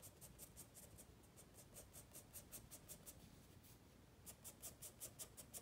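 A wooden pencil makes small scratching strokes on a white spiral paper sketchpad lying flat. The quiet, steady run of short, bright, dry scratches pauses briefly around the four-second mark, then resumes over a low, soft background hush.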